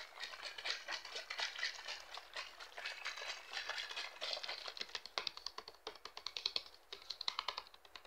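Fingertips and short nails rapidly tap and squeeze the thin walls of a hollow, mostly empty, clear PET plastic water bottle of about 1.5 L with a red cap, held in hands over a patterned cloth. A dense stream of dry, bright plastic clicks and crinkly crackles with almost no low end, each tap dying away instantly. Toward the end the taps become sharper and more spaced out.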